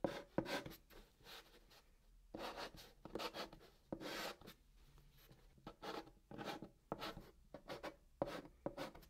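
A white chalk stick held in the fingertips writes Korean letters on the top of a large, flat, hollow brown cardboard box, scratching across its surface. Quiet, dry, scratchy strokes come in short bursts that reach into the high range, with brief pauses between letters. Each stroke stops short with almost no ring.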